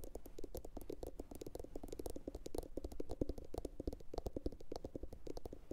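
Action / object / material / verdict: tap / upturned glazed ceramic bowl / ceramic / none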